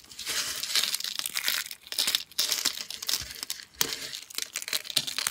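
Fingers snap thin, dry green-and-white soap chips, then crush and rake through the pile of brittle pieces. Dense, bright crackling and crunching in quick bursts fills the clip, with brief pauses between handfuls.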